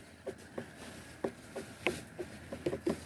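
Watermelons are tapped by hand to judge ripeness, giving a series of short, dull knocks with a low-mid tone around 355 Hz that die away almost instantly. The moderate sound marks these as well ripened, and two of them seem fine.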